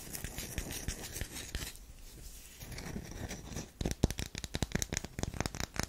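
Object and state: Bar of soap.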